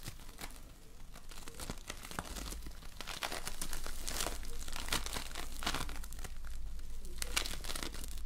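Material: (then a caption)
Polystyrene foam. A lump of floam slime made of tiny colored polystyrene foam beads is squeezed, folded and pulled by hands, producing dense, irregular crackling and crunching with bright, sharp snaps. A steady low hum runs underneath, and the crackling grows slightly louder after the first few seconds.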